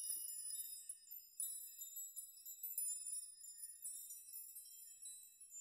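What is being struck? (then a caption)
Hanging metal nail chime. Fingers push and rock the strands of a hanging metal nail chime, so the nails clink together. A quiet, steady stream of bright, high tinkling strikes rings out, with sustained metallic tones shimmering between the clinks and no low end.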